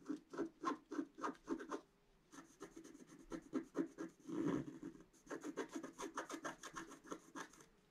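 A pointed wooden stick scratches a flat scratch-art page, a black coating over colored paper, in quick, short, raspy strokes. The strokes come in fast bursts, pause briefly, then resume, with one longer, louder drag midway before the rapid scratching continues to the end.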